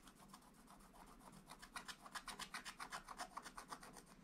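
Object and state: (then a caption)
Wax-coated scratch-art paper being scratched. A wooden stylus scratches dense, quick strokes across a flat, black wax-coated scratch-art page in a book. It makes a steady, rhythmic rasping at about four strokes per second. The strokes start soft and grow louder and brighter after the first second and a half, with a dry scraping tone around 1 kHz and high hiss on each pass.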